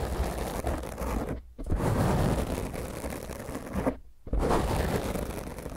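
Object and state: Foam microphone windscreen being scratched.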